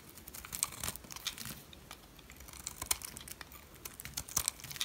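A metal blade shaves the edge of a solid yellow dry soap bar, with the shavings piling up behind it. The scraping is quiet, dry and crackly, a dense run of short, bright crinkling ticks with sharper snaps now and then and almost no low end.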